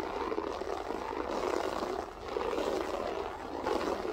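Long nails scratch across a grey loop-pile berber carpet floor with spread fingers, making a steady, dense scraping rasp. The sound sits mostly in the mid-range and swells and dips gently as the strokes continue.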